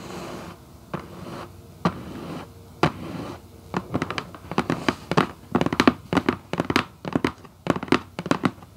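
Long white acrylic nail tips tap on the lid of a hollow red Vans cardboard shoebox. The first few seconds carry soft scratchy rustling broken by a few sharp clicks, then the taps come in quick bursts of crisp, hollow knocks that die away almost instantly.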